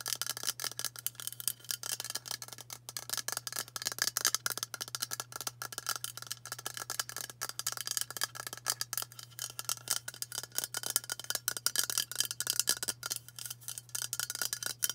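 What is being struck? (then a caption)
Aluminium aerosol deodorant can. Long nails tap quickly on the body of a hollow white aluminium aerosol deodorant can with a plastic cap. The result is a steady stream of sharp, bright metallic ticks with almost no ring, over a faint constant low hum.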